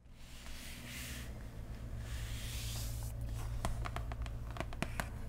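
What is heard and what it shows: Long painted nails and the fingertips of both hands scratch and tap a large, flat, printed cardboard Root board game box with a hollow lid, lying on cloth. The first three seconds are soft, bright scratching sweeps across the lid, followed by about ten sharp, hollow nail taps over a steady low hum.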